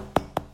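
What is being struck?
Smartphone.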